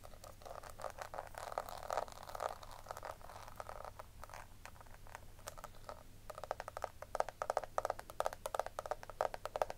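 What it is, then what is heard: Plastic compact case scratched with nails. Long nails scratch the ridged side edge and embossed lid of a small, round, hollow pink plastic compact powder case. The result is a quiet stream of dense, rasping scrapes and rapid clicky ticks, centered in the midrange around 600 Hz, over a faint steady low hum. The ticks grow sharper and more spaced out in the last few seconds.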